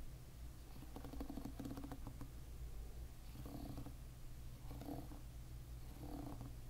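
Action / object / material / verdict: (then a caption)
scrape / plastic-pin hairbrush / plastic / none. Fingers with short nails drag across the plastic pins of a hairbrush lying bristles-up, making a quiet, continuous strumming flutter. The flutter comes in several repeated passes over a steady low rumble.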